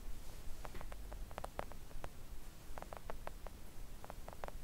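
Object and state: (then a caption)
Silicone nail art mat. Long acrylic nails on both hands gently tap a flat, thin, solid pink silicone nail art mat lying on a table. Soft, short, dull clicks come in irregular clusters over a quiet, low background hum, each tap dying away almost instantly.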